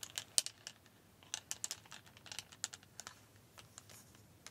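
Several thin, solid white plastic clothes hangers are held in both hands and knocked and clacked against each other. The result is a run of quiet, bright, dry clicks with no ring, scattered irregularly over a few seconds.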